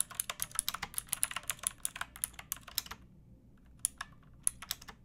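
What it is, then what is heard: Plastic mechanical keyboard being typed on. Fingertips with long painted nails type on a pink backlit plastic mechanical keyboard with round typewriter-style keycaps and a hollow case. Rapid, bright, clicky keystrokes come in a dense run for about three seconds, then pause briefly before a few more sparse clacks. Each click is sharp and dies away almost instantly.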